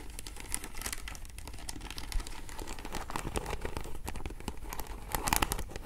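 Long nails scratch along the rows of faceted glass or acrylic beads on the side of a hollow vintage beaded flower clutch as it is held and tilted. The result is a steady, dense stream of tiny crinkly clicks and rasps, with brighter bursts of sharp ticks near the end.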